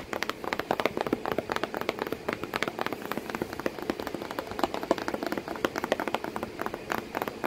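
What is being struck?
Corrugated cardboard box.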